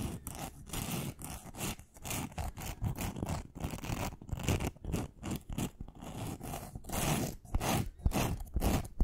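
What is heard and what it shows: Long nails scratch and tap rapidly along a long, thin, solid pink wooden pencil with a glittery coating. The result is a quick run of dry, scratchy bursts and light clicks with a dull low body and a bright, gritty edge, each dying away almost at once.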